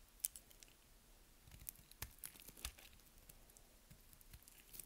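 A partly carved, solid purple bar of dry soap, held upright in the hands, is scraped or cut with a metal blade over a pile of colorful soap shavings. The result is quiet, dry, crisp crackling and scraping, with irregular bright ticks and short crunchy snaps over a soft, low background. Each sound is very short, with no ring.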